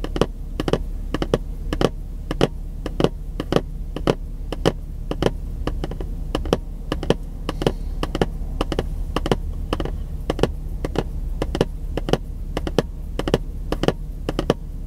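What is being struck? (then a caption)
Printed cardboard box. Fingertips tap quickly on the face of a long, narrow, printed cardboard box held at an angle in one hand. A steady run of short, dry, hollow taps plays over a constant low hum, with each tap dying away almost instantly.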